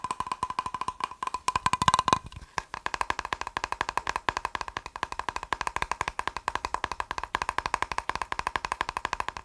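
A plastic box is tapped quickly and steadily, making dry, clicky taps with a hollow tone centred near 1 kHz and almost no ring. The taps run in a continuous rapid stream. A brief louder, denser burst comes around the two-second mark, then a short pause, and the fast, even tapping resumes.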